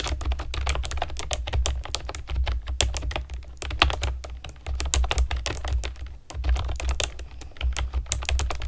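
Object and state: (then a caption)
Plastic keyboard being typed on. A pastel plastic keyboard with round keycaps is typed on with long nails and fingertips, giving a rapid, uneven stream of short, sharp clicks and taps with bright clatter. A steady low hum runs underneath, and typing pauses briefly around six seconds before resuming.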